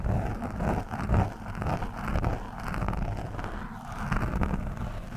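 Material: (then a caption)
Foam. The thin steel shaft of a screwdriver scratches and pokes an orange foam windscreen on a microphone, soft and porous. This gives a continuous, muffled, irregular rumbling scrape that is mostly deep and low, with faint brighter crackle. The result is a dull, close, boomy scratching texture with uneven swells in loudness.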